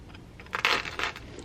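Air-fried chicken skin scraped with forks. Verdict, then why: Crispy. Two forks poke and scrape at chicken that has cooked 30 minutes in a silicone pot in an air fryer, trying to flip it over. Bright, crackly crunches come in short bursts over faint background hiss, showing the skin is crispy.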